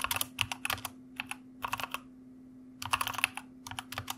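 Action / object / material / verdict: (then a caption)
tap / plastic mechanical computer keyboard / plastic / none. Fingertips of both hands type on a white plastic mechanical computer keyboard. Quick runs of bright, crisp clicking keystrokes come in bursts separated by short pauses, over a faint steady low hum.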